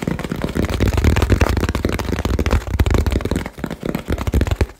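Fingertips tap fast and hard on a small hollow cardboard shipping box with a label and blue tape. The result is a dense, irregular stream of deep, hollow thumps with very short decay and a low, boomy body.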